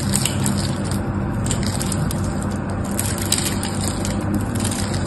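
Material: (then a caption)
Soap. A small metal knife scrapes and shaves flakes from a solid, dry, pink and white striped bar of soap held in one hand. The result is a steady, dense crunching and scraping texture with a low rumble and bright, crackly flecks, holding an even level for the whole clip.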